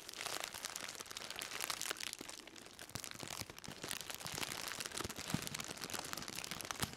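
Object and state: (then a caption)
Plastic-wrapped bundle. A black plastic-wrapped bundle, held in both hands, is crinkled and squeezed with the fingers. It makes a steady, dense run of bright crinkling and crackling for about seven seconds, with quick sharp snaps scattered through and little low end.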